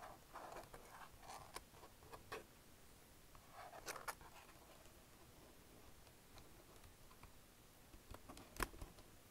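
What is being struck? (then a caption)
Plastic computer keyboard. A black plastic wireless chiclet keyboard is typed on with fingertips, including presses of the Shift key. Soft, quiet clicks and taps sound in uneven clusters, with a few sharper, brighter key strikes standing out, the loudest near the end.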